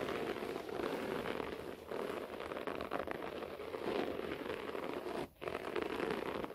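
Fingertips and nails scratch fast across a beige short-pile floor carpet, making a steady, dense, crackly rustle centred in the mids with a faint bright hiss. The scratching runs continuously, with brief dips near 1.8 s and a short near-silent pause around 5.3 s before it resumes.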